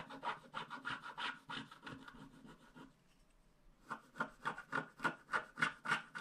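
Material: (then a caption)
Wax, paper. A wooden stick scratches along the lower part of a small, flat paper scratch art card with a black wax coating. It makes a quick, steady series of about twenty dry, rasping strokes with a bright, scratchy edge around 1.5 kHz. The strokes fade into a brief near-silent pause, then return louder and more sharply defined.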